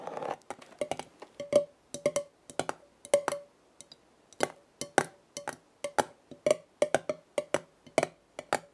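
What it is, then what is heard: Metal jar lid tapped. Long red nails tap the top of a black metal screw lid on a glass jar full of dried leaves. The result is a quick, uneven run of short, dry clicking taps with a faint ringing tone near 800 Hz and bright edges, each dying away almost instantly.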